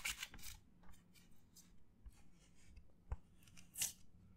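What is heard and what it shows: Fingers rub and scratch the surface of a white disposable paper plate held up in both hands. Bright, dry scratching bursts come in short strokes, with a louder sharp scrape near the end, over a faint steady low hum.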